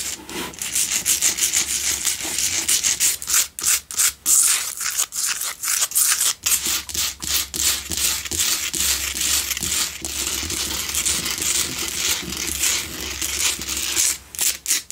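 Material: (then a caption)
Rock salt. Long nails scratch the front and sides of a lit, solid pink Himalayan salt block double candle holder. The result is a steady, bright, gritty rasping made of quick, uneven strokes with brief pauses between bursts.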